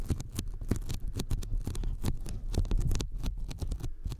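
Sticky fingertips tap rapidly on a thin white closed-cell polyethylene foam sheet lying flat in front of the microphones. The result is a quick, dense patter of soft, low, thumpy taps, each with a brief sticky click that flashes bright. Every tap dies away almost at once.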